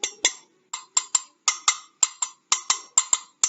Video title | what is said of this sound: Tematik Kelas 4 Sifat-sifat Bunyi | Nah, saya bawa gelas. Ini juga bisa menghasilkan bunyi.